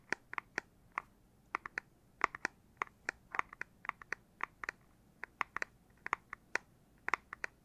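Fingertips tap on the back of a Nintendo Switch Lite handheld game console's plastic casing, about 30 quick taps in an irregular rhythm. Each tap is a short, dry, clicky knock centered around 1.1 kHz with a bright edge, dying away almost instantly against a quiet background.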